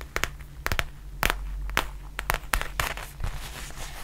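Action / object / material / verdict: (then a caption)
tap / faux leather zip pouch / faux leather / none. Long nails tap and scratch the surface of a black faux leather zip pouch held upright, making a quick series of sharp, bright clicks with brief scratchy rustles between them. Each tap dies away almost instantly over a steady low hum.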